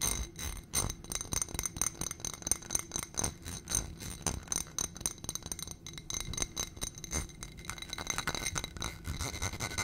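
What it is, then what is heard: Glass footed dish. Fingernails tap and scratch rapidly on the sides of a small ribbed glass dish on a gold stem, filled with white contents. The result is a dense run of sharp, bright glassy clicks with high ringing overtones over a soft low rustle.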